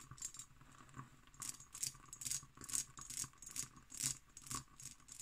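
Long green nails tap and scratch an empty, hollow hobnail-pattern cut glass decanter with its stopper. The result is a quiet, irregular series of bright, crisp clicks and rattling scrapes that die away almost instantly, with little low end.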